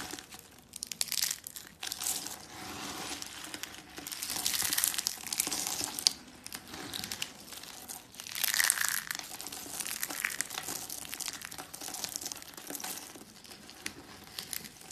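A pile of curled and flat dry soap flakes in teal, white and pink sits on a woven mat while hands with dark nails squeeze and crumble them, then rub them under the fingers. A dense, bright crinkling crunch fills the clip, with no low rumble. It swells into louder crushing bursts at about 1, 4 to 6 and 8.5 to 9 seconds, then settles into a steadier, quieter rubbing rustle.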